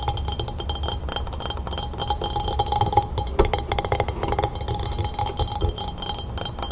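Long red nails tap quickly on the sides of a tall, hollow glass pilsner glass full of pale lemonade resting on a wooden table. The result is a steady stream of short, bright clinks with a faint ringing tone over a low background rumble.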